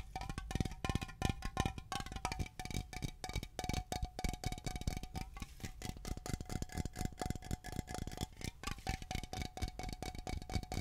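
A Glade aluminum aerosol air freshener can is held horizontally, then vertically, while long nails tap and scratch the metal. Rapid, dense taps and scrapes come through as quick low thumps over a faint, steady metallic ring near 700 Hz, with light bright scratchy texture.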